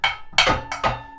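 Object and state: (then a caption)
Ringing, undamped metal turntable platter. A bare metal turntable platter, with no mat on it, is tapped four times in quick succession. Each tap gives a bright, ringing metallic tone around 2.2 kHz that lingers briefly before the next. The platter rings noticeably, showing resonance before a damping mat is added.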